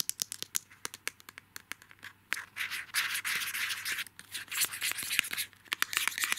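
Fingertips and nails scratch and rub the thin plastic wrapping around a small washi paper tape roll on a card backing, held close. Quick, sharp, bright ticks come first, then longer stretches of dense, crinkly rubbing and scraping, broken by short pauses and more crisp scratches.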